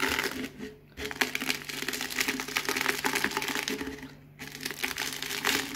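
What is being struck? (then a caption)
Potato chips crushed under a rolling cardboard tube. A hand rolls a cardboard Pringles can over a loose pile of crisp potato chip fragments on a white surface, crushing them. Dense, bright crackling and crunching runs throughout, with two brief quieter gaps near one second and just past four seconds.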